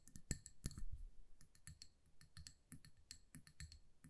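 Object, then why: Small glass candle jar filled with wax. Long acrylic nails tap and scratch a small amber glass candle jar with a paper label, filled with solid wax and held in the hands. Quick, dry clicks with brief bright glassy tings sound over a dull low thump, with 19 separate hits and almost no ring between them.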